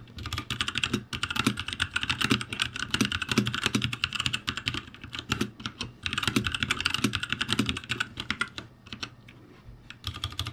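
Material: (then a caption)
Plastic. Both hands type rapidly with their fingertips on a backlit ROCCAT G65 mechanical keyboard with plastic keycaps. The result is a dense, bright clatter of short, dry key clicks over a steady low hum. The typing comes in bursts with brief pauses and trails off to lighter, sparser taps near the end.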